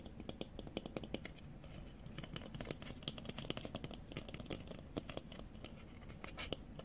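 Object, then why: Plastic sunglasses with mirrored lenses. Fingernails tap and click rapidly on a pair of small, hollow-framed white plastic sunglasses with blue mirrored lenses, held up in the air. Sharp, dry, bright clicks come in an irregular stream over a soft, low background, each one dying away almost instantly.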